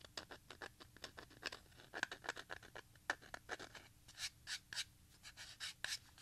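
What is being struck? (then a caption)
Plastic audio cassette shell. A small, hollow grey plastic Maxell audio cassette with screws visible on its shell is held close and rotated while fingertips and a thumb scratch and tap the plastic. The result is a quiet, rapid series of short, dry, bright scratchy clicks and taps with almost no low end, centered around 1.5 kHz, each dying away almost instantly.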